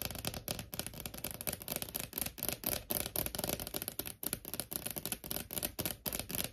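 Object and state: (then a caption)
Wood-grain laminate desk top. Long nails tap fast with both hands on a large, solid desk top with a wood-grain laminate surface. The result is a dense, irregular stream of short, dry, clicky taps with a bright top and a hollow midrange knock, each dying away almost instantly.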